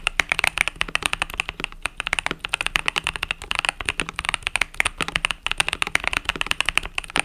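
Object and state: Mechanical keyboard with plastic keycaps.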